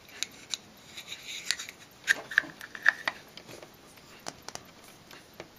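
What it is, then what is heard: Glass nail polish bottle tapped with fingernails. A small, full, square glass Nails Inc nail polish bottle with white polish and a black cap is held in the hand and tapped with long blue nails. About 15 sharp, irregular clicks are heard, some with a brief glassy ring around 1.8 kHz.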